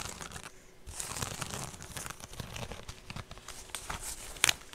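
Long painted nails scratch and tap a medium rectangular woven straw handbag with a rope strap, held up close to the mic while hollow and empty. The result is a dry, bright crinkling and crackling texture of quick scratches, with a short quiet pause near the start and one sharper, louder tap near the end.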